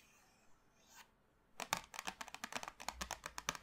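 Long manicured nails tap and drum on the top of a small, flat, printed cardboard box full of 24 sticks of colored chalk, lying on a dark table. After a quiet start with a couple of faint soft touches, a quick run of 17 crisp, bright, dry clicks follows, each dying away almost at once.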